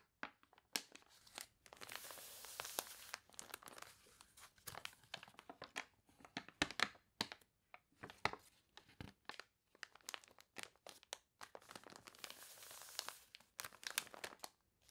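Fingertips and long nails rub and scratch the wavy, glossy pages of an open, water-warped paper toy catalog, and a page is turned. The sound is a dense run of bright, crisp crinkles and sharp scratchy ticks, with two longer swells of rustling crunch. It is quiet and close, with almost no low end.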